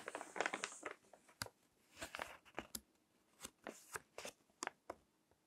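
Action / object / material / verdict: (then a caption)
scrape / paper magazine / paper / none. Fingertips turn and crinkle the pages of a crinkled paper magazine resting on a table. Quiet, dry, bright crackles and rustles come in short bursts, denser at the start and then spaced out, each dying away almost at once.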